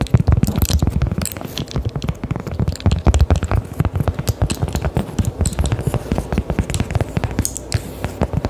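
A round, flat, solid cork coaster is held close to the mic and tapped and scratched with long decorated acrylic nails. Rapid, dull, low-pitched taps mix with soft scratching, each tap dying away almost instantly for the whole clip.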